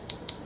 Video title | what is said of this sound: NCE Clear Sussie’s Acrylic Low Order Monomer | it's dry. You hear that tapping sound?